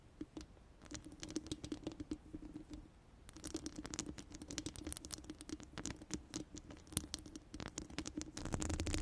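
Long orange acrylic nails on both hands scratch and tap the round steel mesh dome grille of a large studio microphone. The result is a dense, fast patter of short, dry clicks and scrapes over a steady low hum, with bright edges on each tap. The patter grows louder and busier toward the end.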